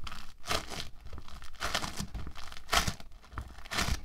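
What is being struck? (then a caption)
Polystyrene bead foam clay. A hand-sized, solid block of soft orange bead foam clay (playfoam), made of tiny polystyrene beads, is pressed, squeezed and pulled apart by fingertips and palms on a white table. Bursts of bright, crackling, crinkly tearing come in uneven waves over soft, low, muffled thumps.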